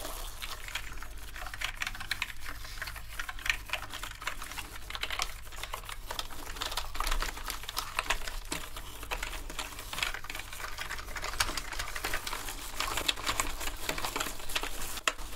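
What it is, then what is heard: Plastic keyboard keys clicking under scrubbing. Toothbrushes scrub the keycaps of a wet, foamy black plastic gaming keyboard, producing a dense stream of quick, light plastic clicks over bright, scratchy bristle noise. A steady low hum runs underneath throughout.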